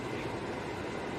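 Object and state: Nothing is struck.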